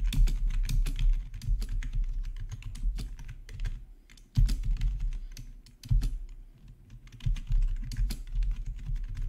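Fingertips of both hands type on a full-size black plastic membrane gaming keyboard with rainbow backlit keys, lying on a marble-pattern surface. The result is a steady stream of soft, muffled key taps with a low thump beneath brief bright clicks, pausing briefly before resuming.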